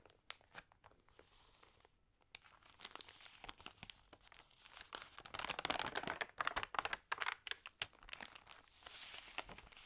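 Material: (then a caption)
Glossy paper. Long nails and fingertips rub and turn the damp, crinkled pages of an open, water-sprayed glossy paper magazine. The result is irregular, bright crinkling and crackling with sharp snaps, quiet at first, then building into dense, louder bursts midway before easing to softer rustling.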